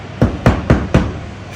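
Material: Gypsum plaster.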